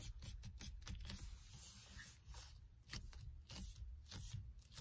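Fingers and a palm rub and grip the rim of a car steering wheel covered in black leather or faux leather. Short, dry scraping and squeaking strokes repeat through the clip, with bright bursts over a steady low rumble. The overall level stays quiet.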